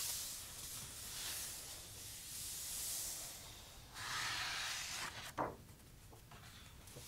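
Palm and fingertips rub over the coated paper pages of a large, thick softcover photo book lying open, then pages are turned. Soft, bright hissing swishes rise and fall, followed by a louder brushing sweep and a single sharp papery flick as a page turns over.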